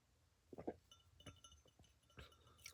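Soft, quiet clinks are tapped on a little glass of white wine, with a few stronger taps early on and lighter ones following. Each tap gives a short, bright glassy ping with a faint low thump underneath, and the ring dies away almost at once.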